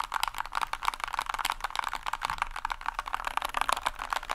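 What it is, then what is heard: Plastic mechanical keyboard. A small white compact mechanical keyboard with a hollow plastic case is held tilted upright while fingertips tap and press its keycaps. The result is a rapid, continuous run of crisp, dry plastic clicks, bright and centered in the upper mids, with almost no low end and no ring after each press.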